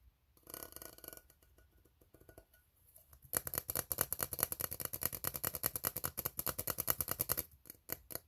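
Fingertips tap and nails scratch across the ribs of an empty, hollow, ribbed steel tin can. Soft, scattered taps and scrapes open the clip, then from about three seconds a fast, steady run of crisp metallic scratches and taps sets in with a bright, hissy edge. It cuts off just before the end, leaving a few final strokes.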